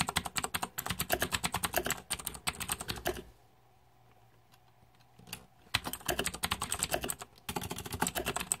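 Fingertips type on the plastic keycaps of a green-backlit Razer 2014 Deathadder mechanical keyboard, producing rapid, bright clacking keystrokes. The typing stops for a quiet pause of about two and a half seconds, with only a faint low hum and a few stray clicks, then resumes in quick bursts until the end.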